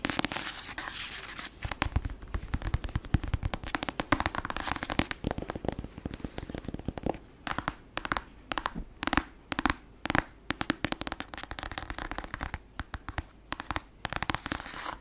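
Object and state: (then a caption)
Paperback book with glossy cover. A black paperback novel with a glossy cover, a solid paper block, is tapped and scratched on the cover with long acrylic nails. The sound is a dense run of sharp, dry clicking taps and crackly scratching with very short decay, heard close up. The taps come in quick bursts separated by brief pauses.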